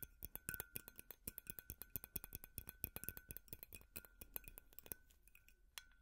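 A large, hollow, white frosted glass light bulb with a metal base is held in the hands and tapped quickly with metal finger picks. The result is a rapid, uneven run of sharp, bright clinks that die away almost at once, with a faint steady ring underneath. The taps thin out and grow softer toward the end.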